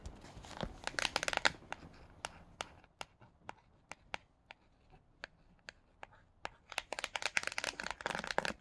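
Fingertips with paperclips on the nails tap the laminated cardboard cover of The Silver Slippers, a hardcover children's book lying on a blanket. Dense bursts of quick, bright, dry clicks at the start and end frame a quieter middle of evenly spaced single taps. Each tap dies out instantly with no ring.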